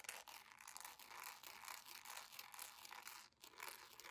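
Long nails scratch and rub across the footbed, bow and sole edge of a beige jelly plastic sandal. The result is a fast, continuous, bright rasping and crinkling with almost no low end, briefly dropping away just past the three-second mark before resuming.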